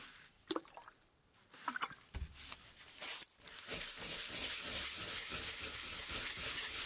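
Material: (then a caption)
Wood. A flat, solid wooden baseboard from a 1908 typewriter, resting on a paper-covered table, is scrubbed and rubbed with a brush and gloved hands. A few brief, sharp rubbing strokes come first, with quiet gaps between them. Then a steady, bright, hissy scrubbing builds and fills the rest of the clip at a brisk, fairly even pace.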